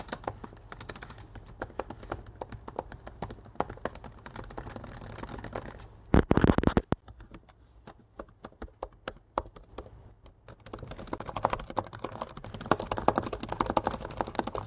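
Fingertips and nails type quickly across black plastic laptop keys set in an aluminum body, making a dense run of short, dry clicks over a faint low hum. Around six seconds a brief louder, fuller burst of clatter breaks in. The typing then drops to sparse, quieter taps for a few seconds before picking back up to a steady, rapid rhythm.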